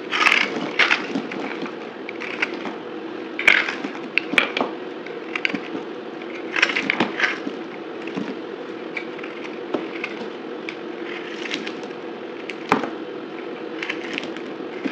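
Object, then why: Bar of soap. A utility knife blade slices and scrapes a dry white bar of soap with a blue coating on its edges, held in the hand, with shavings falling onto a table. Crisp, dry crackling and scraping fill the clip, with many short, bright cutting snaps over a steady rasping hiss.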